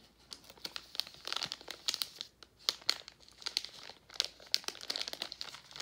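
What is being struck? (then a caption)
Metallized plastic candy bag. A gold Werther's Original metallized foil-plastic candy bag, partly full of hard candies, is held and crinkled with the fingers. Dense, bright crackling rustles come in uneven bursts with sharp crisp peaks and almost no low end.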